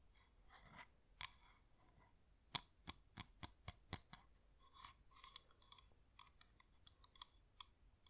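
A hand-sized yellow flameless LED pillar candle with a wax-like shell, a glowing LED inside and a hollow top is held in one hand and tapped with long manicured nails. Quiet, sharp, bright clicks come in an irregular string with faint scratchy brushing between them, each tap dying away almost instantly.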